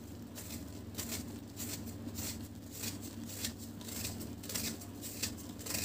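A broken, solid chunk of dry cement cake held in one hand is shaved with a metal knife blade in sawing-like scraping strokes. Each stroke gives a dry, gritty, bright rasp in a loose, uneven rhythm over a steady low hum.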